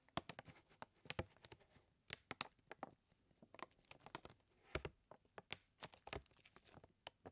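Fingertips tap and scratch a full white paper flour bag held upright with both hands, making a quick, irregular run of soft, dry taps and scratches. The paper crinkles slightly between the taps, and the sound stays quiet, crisp and bright throughout.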